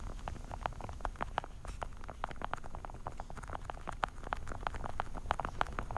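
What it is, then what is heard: Plastic pill organizer. Long dark-painted nails tap quickly on the top lids of a small, hollow, translucent blue plastic weekly vitamin and pill organizer case held in both hands. The result is a rapid, steady run of light, hollow plastic clicks centered around 800 Hz over a soft low rumble.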